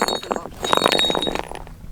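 Volcanic rocks at the bottom of the Grand Canyon in Arizona are knocked against each other, producing a rapid series of short, bright clinks centered around 1 kHz. The clinks sound like glass, as expected for rocks formed by volcanic activity, and each dies away almost instantly.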